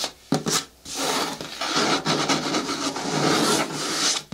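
Long nails scratch the sides of a large, hollow, green hard plastic bin with a lid. The result is a bright, dry rasping scrape: two short strokes come first, then a longer continuous stretch of steady scratching that cuts off at the end.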